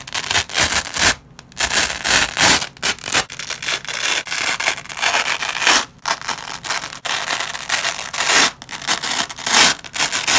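Black-gloved fingers repeatedly rip apart a nylon velcro strip, pulling its yellow loop side from its white hook side. Each pull gives a bright, crackly rasping tear, with short quiet gaps between the rips.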